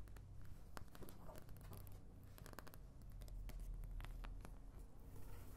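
An oval white plastic paint palette, thin and hollow, has its wells and back tapped and scratched with long nails. Quiet, irregular sharp clicks and dry scratching ticks sound over a steady low hum.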